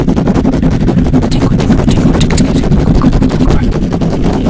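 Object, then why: Metal mesh microphone grille. Fingertips of both hands rapidly scratch the hollow metal mesh grille of a black microphone. The result is a loud, continuous, dense scratching roar dominated by low rumble, with scattered bright crackles across the clip.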